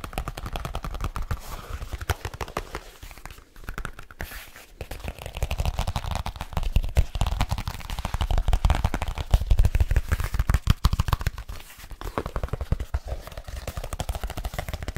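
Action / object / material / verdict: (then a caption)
tap / leather folio case / leather / none. Fingertips and nails tap fast and irregularly on the cover of a large black leather folio case held upright. The quick, dull, low-pitched taps have no ring, and they run in dense bursts that swell and ease throughout.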